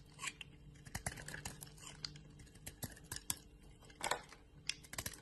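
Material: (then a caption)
Soap. A metal blade scrapes and carves crumbly flakes off a hand-sized solid white bar of soap with a yellow rind, held in the hand. Quiet, dry crackling scrapes are broken by many sharp, bright clicks and snaps that stop almost instantly, with a faint low hum underneath.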